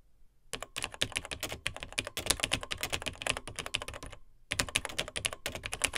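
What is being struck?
Plastic laptop keyboard keys.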